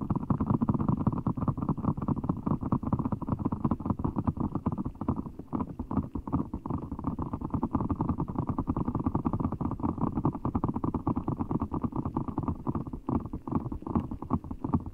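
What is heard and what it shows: A large, full giant Orbeez ball, made of blue water gel beads in a clear rubber skin, is held over the microphone while fingertips squeeze it. The result is a steady stream of soft, wet squishes and bead crackles for the whole clip, thick in the low and middle range with almost no high end. The sound stops abruptly after each squeeze rather than ringing on.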